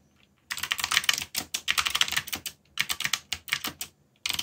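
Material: Plastic.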